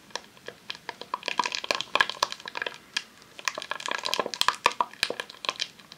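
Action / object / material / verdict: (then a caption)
tap / rolled vinyl sheet in a plastic sleeve / vinyl, plastic / none. Long nails rapidly tap a long roll of vinyl adhesive sheet in a clear plastic sleeve resting on a tablecloth. The taps are quick, dry and crinkly, with a bright plastic rustle and almost no low end. They come in two dense bursts separated by a brief lull near the middle, and each tap dies away almost instantly.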